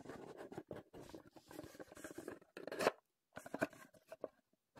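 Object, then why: Small empty cardboard box. Fingertips and nails scratch and tap a small printed Heddon cardboard lure box, empty and reassembled, held in the hands. Dry, papery scratching comes in quick irregular bursts, mostly in the low-mid range, broken by short silences. It thins out toward the end into a few light taps.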